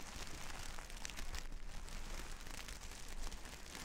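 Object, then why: Plastic sequin fabric. A large flat sheet of reversible plastic sequin fabric lies on a table while long red nails scratch and brush across the sequins. The result is a steady, dense crackling and rustling texture with a strong low rumble underneath and faint bright ticks on top.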